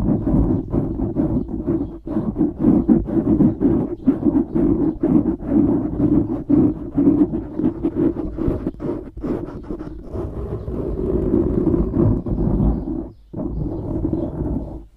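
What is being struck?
Foam microphone windscreen.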